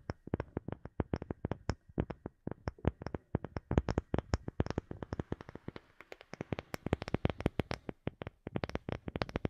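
A wooden object is tapped over and over with short, dry taps, each a low thud with a brief bright click on top. The taps come in uneven bursts and grow denser and faster in the second half, with no ring after each hit.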